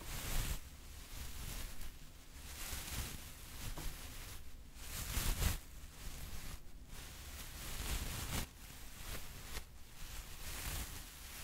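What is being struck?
Nothing is struck.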